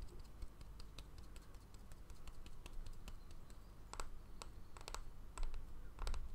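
A small, solid, round bamboo jar lid with a seal ring on its edge is held in the hand while fingernails tap and scratch its flat face. Light, sharp clicks and brief bright scratches come at an irregular pace over a low, steady rumble. The taps grow louder and cluster together toward the end.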